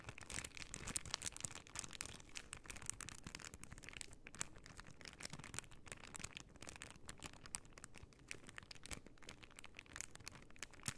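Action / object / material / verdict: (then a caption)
scrape / plastic sticker sheet in a plastic bag / plastic / none. A plastic pearl sticker sheet in a clear plastic bag is bent and crinkled in both hands while long nails scratch its surface. The result is a quiet, continuous stream of dense, bright crinkles and sharp crackling ticks over a soft low rustle, lasting the whole clip.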